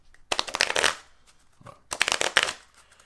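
A small deck of coated cardstock GEMACO casino playing cards, held in both hands, is bent and riffled with the fingertips and thumbs, then squared up. Two quick bursts of bright, crackling paper flutter are heard, with a faint soft rustle between them.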